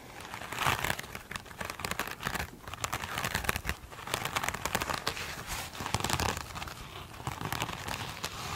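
Long acrylic nails scratch and tap one small rectangular foam sponge with a glitter-coated surface. The result is a dense, continuous crinkling and crackling texture of quick, bright clicks and scrapes that swell and ease in waves throughout.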